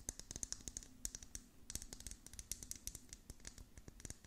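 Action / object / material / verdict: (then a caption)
tap / plastic cup with hollow dome lid filled with beads / plastic / none. Long nails tap and scratch the curved, hollow dome lid of a clear plastic cup that has beads inside. A quick, uneven run of short, bright plastic clicks and scrapes is heard over a faint low hum, each tap dying away almost instantly.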